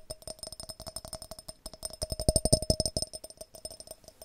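A glass jar is tapped quickly and repeatedly. The taps are short and clicky, with a steady ringing tone near 625 Hz and faint bright overtones. The taps grow louder in the middle and then ease off.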